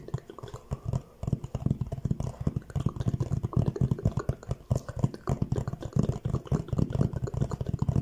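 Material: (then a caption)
Cardboard. Fingertips rapidly tap the front of a hollow orange Fendi cardboard gift box held at an angle, making a dense run of short, dull, low thuds that die away almost instantly. The taps come in quick uneven bursts with brief pauses, and there is little bright content.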